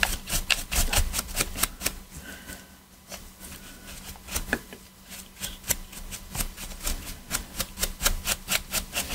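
A black PS4 controller of hollow hard plastic, held in gloved hands, has its edges and triggers scrubbed with a stiff detailing brush. Quick, bright scratchy strokes with a hollow plastic rasp repeat at a brisk, uneven pace, ease into quieter, slower brushing midway, then pick back up.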